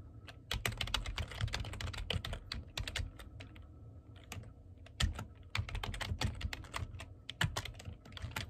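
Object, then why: Plastic computer keyboard. Fingertips type on the keys of a black plastic computer keyboard, producing quick, sharp, bright clicks that come in uneven bursts with short pauses between them. Underneath the clicks runs a steady low hum.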